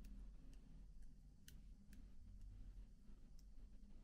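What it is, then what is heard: Plastic laptop keyboard keys. Fingertips tap and flutter lightly over the black plastic keycaps of a MacBook keyboard. Soft, faint clicks sound now and then over a steady low hum, each fading almost at once.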